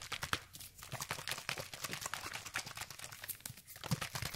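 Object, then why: Plastic spray bottle with liquid. A hand-sized, hollow orange plastic sunscreen spray bottle, partly filled with liquid, is held in one hand with painted nails and shaken fast close to the microphone. The result is a dense, continuous run of quick sloshing splashes and crisp plastic clicks, bright and crackly with a soft low thump under each stroke.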